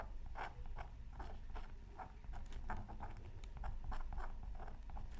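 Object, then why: Scratch art card scratched with a wooden stylus. A thin black-coated scratch art card from a Mythical Creatures Super Scratch Art Pad, held down by the other hand over tissue paper, is scratched with a pointed wooden stylus. It makes a quiet run of short, dry scratching strokes in quick succession over a steady low rumble.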